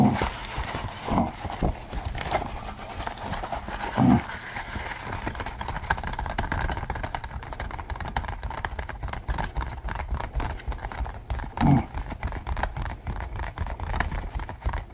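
A pink latex pig mask worn on the head is tapped with the fingertips throughout. The result is a steady stream of quick, soft, dull taps with low, muffled rubbery thumps and little brightness, plus a few louder bursts near the 4- and 12-second marks.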